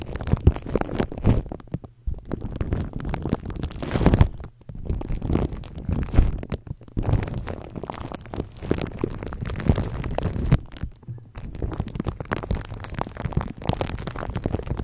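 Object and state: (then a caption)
Plastic cling wrap crinkled over a microphone. Fingertips of both hands rub and crinkle clear plastic cling wrap stretched over a microphone head. A dense, continuous rustling and crackling with deep low-end thumps and rumbles fills the clip, broken by a few brief near-silent pauses.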